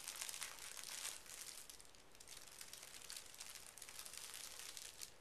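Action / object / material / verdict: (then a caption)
scrape / thin tissue paper sheet / paper / none. Fingertips and short nails smooth and lightly scratch a large, flat sheet of thin pink tissue paper resting on carpet. The result is a soft, steady crinkling and rustling, mostly bright and high with little low end, easing briefly near the middle before picking back up.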